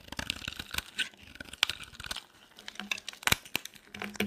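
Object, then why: Bar of soap cut with a metal blade. A metal blade carves a solid, dry, cream-white soap bar, shaving thin flakes into the hand. Rapid, crisp scraping and crunchy crackles come in uneven bursts of short, bright strokes, with a faint low hum between some cuts.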